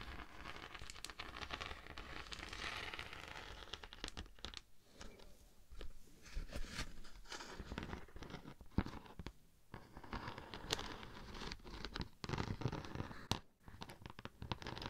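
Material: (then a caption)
Beeswax. A thin, flat, solid natural beeswax sheet with a honeycomb texture is scratched with long nails while held close to the microphone. The result is a dense run of dry, crinkly scratching and tearing-like rasps with soft low rumble underneath. Brief quieter pauses break up the texture throughout.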